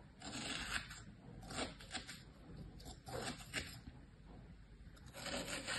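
A thin tool held by a hand with long painted nails scratches patterns into packed beige kinetic sand filling a green plastic tray. Soft, gritty scraping strokes come in bursts with a bright, hissy rasp and little low end, separated by quieter pauses.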